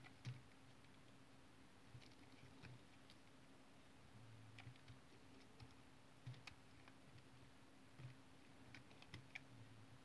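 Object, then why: Tar soap bar. A utility knife cuts cubes and flakes off a solid, hand-sized brown tar soap bar, the blade scraping through the soap. Quiet, short, dry crisp clicks and scrapes come at irregular intervals over a steady low hum, each cut ending almost instantly with no ring.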